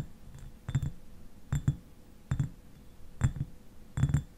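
Fingernails tap the upper glass near the cap of a clear glass eyewash bottle that stands upright, partly filled with liquid. Ten short, dull taps come in five quick pairs, each with a low knock and a faint bright click that dies away almost at once.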